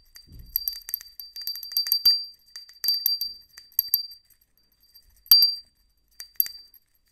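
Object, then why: Small ceramic hand bell. A small, hollow white ceramic hand bell with a decal is held open side up in a black-gloved hand and shaken so it rings. It gives bright, high, glassy clinks in quick irregular clusters with short rings, then a pause and a few more separate louder rings near the end.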